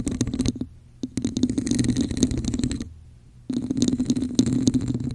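A hollow red plastic cup with a raised diamond texture sits over a microphone while long nails scratch its top, then both hands scratch its sides. Bursts of rapid, uneven scratching ring with a hollow, boxy resonance, broken by two brief quiet pauses.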